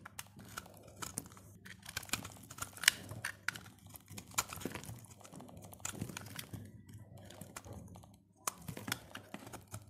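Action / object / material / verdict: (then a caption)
scrape / soap bar carved with a blade / soap / none. A utility blade carves and scrapes shavings off the surface of a solid, dry purple soap bar. The result is a quiet stream of short, dry, crisp scraping and crunching strokes with bright, crackly high end. A brief pause comes before the strokes resume near the end.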